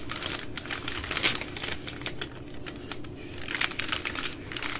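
Long nails tap and scratch the plastic film of a single full, soft plastic baby wipes pack of 80 wipes with a hard plastic lid, held in both hands. The result is a steady stream of quick, bright crinkles and clicky taps, mostly high in tone, with brief louder bursts and little low end.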